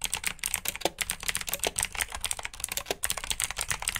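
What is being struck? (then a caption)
Plastic mechanical keyboard. Fingertips with short nails type rapidly on a full-size black plastic mechanical keyboard with RGB backlit keycaps, clicky blue switches and hollow key housings. About eighteen sharp, bright clicks and clacks follow one another in a steady stream, each dying out almost instantly, with very little low end.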